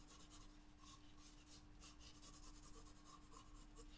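A wooden graphite pencil draws on a flat paper sketchbook page, making short, quiet, raspy scratching strokes across the paper surface. The strokes run together over a steady low hum, with brief brighter bursts of scratch texture throughout.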